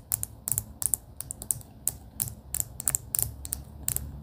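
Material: Plastic.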